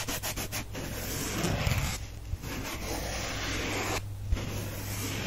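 A soft, solid, heart-shaped pink porous foam sponge held in one hand is scratched and traced with fingernails. It makes a run of quick, bright scratches followed by a steady, dry rubbing hiss over a low, constant hum.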